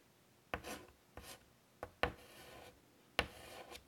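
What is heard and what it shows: Fingers with pink nails draw on a large flat painted chalkboard in a light wooden frame lying on a table, using a stick of white chalk. Each stroke begins with a sharp tap of the chalk on the board, then a dry, bright, scratchy rub trails off before the next stroke. The strokes come at an uneven pace, with quiet gaps between them.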